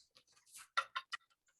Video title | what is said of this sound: SAM Dept of Resourcery Magic for Beginners - Coins with Ryan Pilling March 12, 2022 | tap it against the wood table you can hear that there's a coin in there